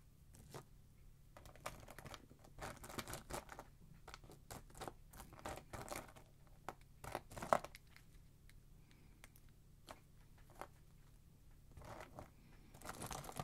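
Small, thin, solid pale wax flakes are held between fingertips, bent and torn above a pile of flakes on a dark surface. Quiet, dry crackles and crisp tearing snaps come in irregular bursts over a steady low hum, with one sharper crack standing out near the middle.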